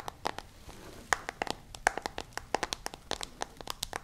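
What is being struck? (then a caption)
Smartphone with plastic case and glass screen. Long nails tap rapidly on the lit screen of a smartphone in a white case, making about two dozen sharp, dry clicks. The taps are quiet and bright, with no ring after each one.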